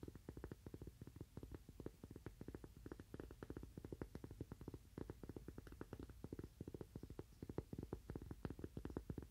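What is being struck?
Cork coaster.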